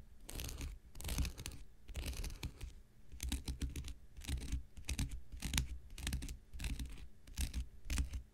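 An X-Acto knife blade scratches the surface of a thick, hand-sized block of light blue porous cellulose sponge held in the hand. Short bursts of dry, bright rasping scratches repeat in quick strokes over a low, soft rumble, with brief pauses between them.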